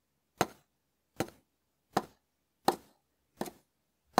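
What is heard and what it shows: A hand-sized, hard dried konjac sponge held in the fingers is tapped and scraped with the bowl of a small wooden spoon. Six short, dry, crisp knocks are heard, roughly 0.7 seconds apart, each with a brief scratchy crackle trailing off quickly. The hits have a hollow woody tone centered near 770 Hz with almost no ring.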